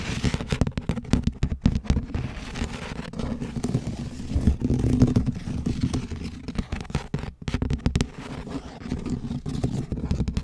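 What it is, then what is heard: Textured plastic lid. A large pink perforated plastic tray lid with a textured surface is held upright while one hand scratches and taps it with long nails. The result is a dense, continuous run of quick, dull clicks and rasping scrapes, mostly low and muffled with little brightness, each tap dying away almost at once.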